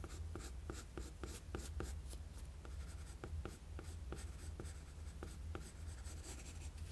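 A wooden graphite pencil makes quick sketching strokes across a flat sheet of drawing paper. The short scratchy strokes repeat in a steady rhythm, each a brief bright rasp over a constant low hum.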